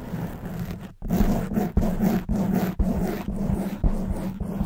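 Long white nails on both hands scratch the black foam windscreen of a silver microphone, making dense, muffled, low rumbling scrapes. The scratching comes in repeated bursts with short pauses and sharp onsets between them, with a steady low hum beneath.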